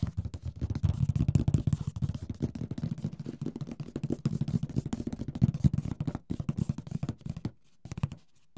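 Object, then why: Cardboard board game box. Fingertips tap rapidly and lightly scratch the lid and side walls of a large, rigid, hollow printed cardboard Mysterium board game box. The result is a dense run of short, dull, low thuds with almost no ring, the tapping pausing briefly near the end before a few last taps.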